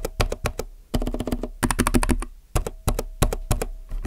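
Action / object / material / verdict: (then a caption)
tap / mechanical keyboard with plastic keycaps / plastic / none. Fingertips type on a compact mechanical keyboard with plastic keycaps, producing bursts of quick, clacky keystrokes with deep thock bodies and bright clicky tops. The typing comes in short flurries separated by brief pauses, with a faint hum underneath.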